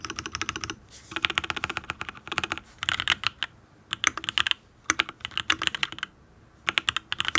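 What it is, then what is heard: Mechanical keyboard typing. Fingertips of both hands type rapidly on a full-size custom Matrix mechanical keyboard with lubed Tealios V2 linear switches, an aluminium case, ABS keycaps and no foam, while a second keyboard sits idle nearby. Quick runs of sharp, bright clacks come in bursts separated by short pauses. Each keystroke is crisp and dies away almost instantly, with very little low-end thump.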